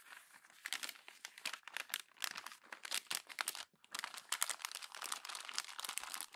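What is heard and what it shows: Hands crumple the next page of a glossy paper magazine and press it flat against the spread. Dense, bright crinkling and crackling bursts run almost continuously, with only a brief pause partway through.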